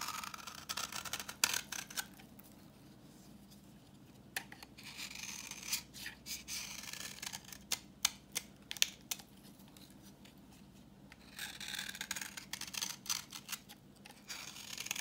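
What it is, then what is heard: Dry soap bar. A solid, translucent reddish bar of dry vintage soap, held in the hand, is scraped with a utility knife blade, peeling off orange shavings. Bright, dry scraping and sharp crackling clicks come in bursts separated by quiet pauses.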